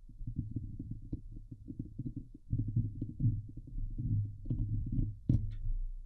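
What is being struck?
Steel mesh microphone grille.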